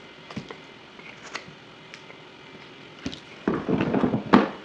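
A yellow utility knife carves a solid white bar of soap, sped up to double speed, with dry shavings falling onto a table. Faint, scattered cutting clicks give way to louder, denser scraping in the final second, ending on a sharp crisp cut.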